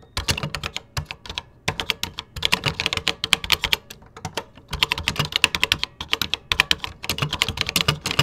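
Fingertips type on a 1980s vintage plastic computer keyboard with cream plastic keycaps. The sound is a rapid stream of bright, dry, clicky keystrokes that stop almost instantly, with soft low thumps underneath. They come in bursts with brief pauses between runs.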